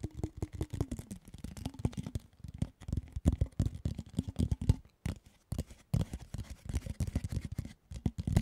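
A red, hollow, handheld cardboard Pringles chip can with a printed wrapper is held in both hands close to the microphone while its side is tapped and scratched with fingertips and fingernails. Rapid, dense bursts of dull, hollow-sounding taps mix with dry scratching, with short pauses between flurries. Each tap dies away almost instantly.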